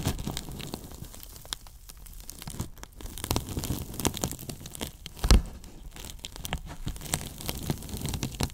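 Fingers lift, rub and scratch a foam flap and the top edge of a large, hollow, white polyethylene foam box. The result is a steady stream of dry, crinkly scratching and squeaky rubbing with quick bright ticks, over a dull low body from the hollow box. One louder scrape stands out near the middle.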